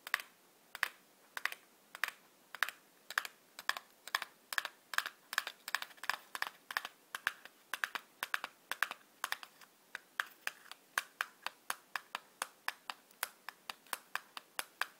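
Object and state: Cardboard matchbox tapped with fingernails.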